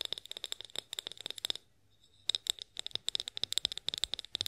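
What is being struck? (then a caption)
Glass bottle. Long nails tap and scratch a tall, clear, hollow, mostly empty glass olive oil bottle labelled "OIL BOTTLE," making about 26 quick, sharp clicks with almost no ring. The clicks are bright and glassy, centred near 3.7 kHz, and there is a short pause in the middle before the tapping picks up again.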